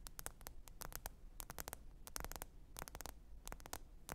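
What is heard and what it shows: Long pointed nails tap the glass screen of a small, thin, black smartphone lying flat and screen-up on faux fur. Quick, irregular clicky taps come in loose bursts, each short and bright with almost no ring. A steady low hum and faint static run underneath.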